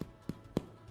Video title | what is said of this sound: Джейми Оливер - Как приготовить хлеб в домашних условиях | I wanted to hear that hollow sound. And then you know it's fluffy and cooked on the inside.